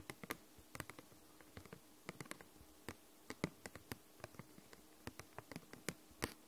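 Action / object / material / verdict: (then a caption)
tap / hard plastic case / plastic / none. Long nails tap the surface of a glossy, hollow, purple hard-plastic case, making about 28 quick, sharp, clicky taps in an irregular, unhurried rhythm. The taps are quiet and die away almost instantly over a faint steady hum.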